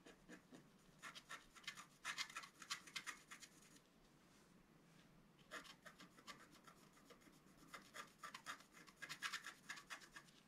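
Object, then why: Wooden stylus on scratch-art card. A pointed wooden stylus scratches and rubs away the coating of a flat, black-coated scratch-art card, about A4 size, lying on a table. Quick, dry, bright scratching strokes come in dense bursts, with a quiet pause in the middle before the scratching resumes.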